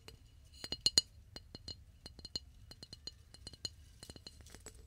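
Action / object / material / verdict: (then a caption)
tap / flower vase / unknown / none. A flower vase is tapped repeatedly in close binaural recording. The result is a steady run of quick, bright, glassy clinks with very short ring, some taps louder than others, over a quiet background.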